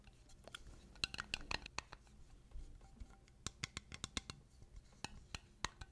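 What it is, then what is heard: Glass mason jar with metal lid. A small, clear, empty glass mason jar with a silver metal screw lid is held in both hands and tapped and scratched with long painted nails. Quick, sharp, bright clicks ring with a faint glassy tone, mixed with soft scratching, and several taps cluster together over a quiet background.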